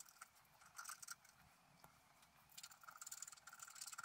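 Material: Coated paper.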